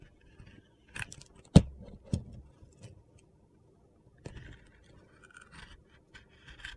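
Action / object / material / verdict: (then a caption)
scrape / bar of soap / soap / none. A metal utility knife blade shaves thin curls off a hand-sized, solid white bar of soap with an orange-green glitter coating held in the hand. Soft, dry scraping and short gritty crunches come in scattered bursts, with one sharp, louder crack early on, followed by quieter, crisper scrapes.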